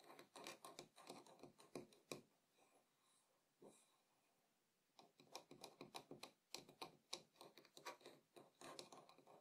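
Fingertips tap on the rim and outer side of a small, empty, hollow wooden bowl resting on a table. Quick, irregular, dry knocks come in dense bursts, with a quieter stretch of faint soft sounds in the middle before the tapping picks up again.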